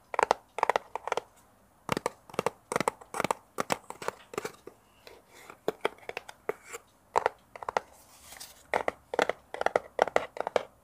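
A small, hollow brown kraft cardboard box, held in both hands close to a mini microphone, is scratched and tapped with fingernails. Quick clusters of dry, papery taps and scratches come in bursts with short pauses between them, centered in the mid-range with brighter edges. Each tap dies away almost instantly.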